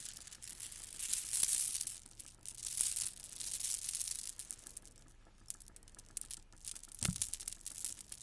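A gold plastic bead garland is held in the hands and rubbed with long nails, then lifted so its strands hang and swing. The result is bright, hissy rattling and fine clicking in a few louder swells early on. It thins into sparse ticks later, with one sharp click near the end.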